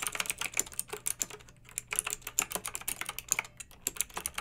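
Fingertips and long nails type with both hands on a pink backlit plastic mechanical keyboard with round, typewriter-style plastic keycaps. About 27 quick, bright clicks and clacks come in an uneven rhythm, each dying away almost at once, over a faint low hum that stops near the end.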